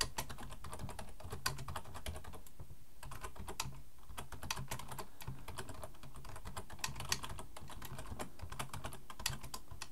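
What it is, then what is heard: Plastic computer keyboard being typed on. Both hands type with their fingertips on a black plastic full-size computer keyboard resting on a wooden desk. A steady stream of quick, bright key clicks dies away almost instantly, a few sharper keystrokes stand out, and a low, continuous rumble sits underneath throughout.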